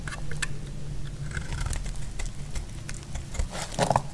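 A solid, dry orange soap bar held in the hand is carved with a metal utility blade, and brittle chunks break off. Short, dry scraping and crunching clicks with bright edges come at irregular intervals over a steady low rumble. Each crack is brief, with the crunchiest cluster near the end.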